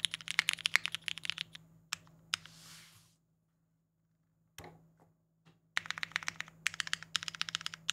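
Fingertips type on a compact Singa Kohaku R2 mechanical keyboard with a polycarbonate case and GMK Boneyard ABS keycaps, producing quick bursts of bright, sharp clacks over a faint low hum. The typing pauses briefly with a soft hiss and a few isolated taps, then resumes in a dense run of crisp keystrokes.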